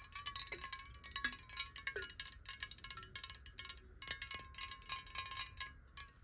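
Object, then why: Glass bottle partly filled with water. A clear, hollow square glass water bottle, partly filled with water and held sideways, is tapped rapidly with long nails. The taps make a quick run of bright, glassy clicks and chimes over a steady ringing tone near 1 kHz, with short pitch slides where the water shifts.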